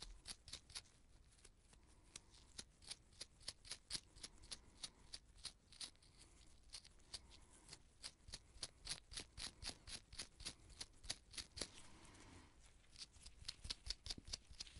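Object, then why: Small paint brush with bristle tip. The pale bristle tip of a small artist's paint brush, with a gold ferrule and red wooden handle, is rubbed and flicked between purple nitrile-gloved fingertips. Dozens of quick, dry, bright ticks and soft brushing rustles come in an uneven, rapid rhythm over a faint low background hum.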